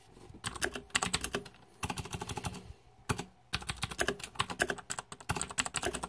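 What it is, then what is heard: Plastic mechanical keyboard being typed on. Fingertips type on a green-backlit 2014 Razer Deathadder mechanical keyboard with plastic keycaps. Quick bursts of sharp, bright clicks and clacks come with short pauses between the runs. Each keystroke ends crisply with almost no ring.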